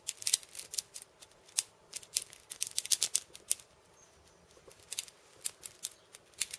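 A cabasa with wooden end discs and steel ball chains is held and turned in the hand while fingers rub, scratch and tap the beads. This makes quick, dry, bright metallic rattles and clicks with almost no ring. The bursts come in irregular clusters, with a short quiet gap near the middle.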